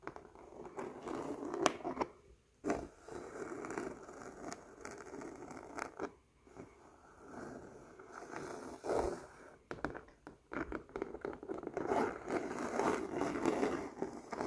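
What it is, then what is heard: Canvas fabric scratched. Painted fingernails scratch and rub a flat woven canvas cloth printed with a large flower pattern, laid on a surface. The result is irregular bursts of dry, papery scratching and rasping, with brief quiet gaps between strokes.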